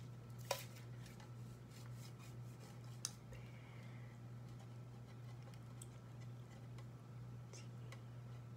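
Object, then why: Aluminum aerosol can tapped with fingernails. A tall black and white aluminum aerosol hairspray can, metal and hollow, is held horizontally and tapped with long acrylic nails. Two sharp, bright clicks stand out, with fainter light ticks scattered between them. Each tap dies away almost at once over a steady low hum.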